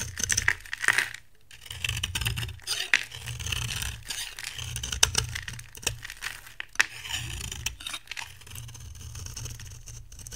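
A metal box-cutter blade scrapes shavings off the face of a dry, solid rectangular brown bar soap with a green outer layer, held in the hand. Bright, crisp scraping and crumbly crackling come in uneven strokes with sharp clicks and short pauses, set over a low steady hum.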